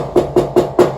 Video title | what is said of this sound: How to reverse the swing direction of a commercial steel door | that sounds hollow, so I know that's not full of concrete.